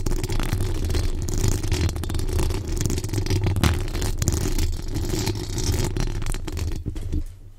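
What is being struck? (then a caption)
Metal mesh microphone grille. Long acrylic nails on both hands scratch and tap the rounded metal mesh grille of a large condenser microphone with a decorated body. A dense, continuous scratchy rattle rides over a heavy low rumble close to the mic, with faint clicks and scrapes throughout. It drops off briefly near the end and continues more quietly.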